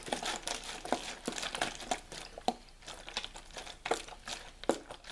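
Fingertips squeeze and crinkle the thin walls of a clear, ridged plastic water bottle with a label and white cap, hollow and mostly empty. A steady run of bright, dry crackling is punctuated by sharper plastic pops and snaps that ring briefly in the midrange, with almost no low end.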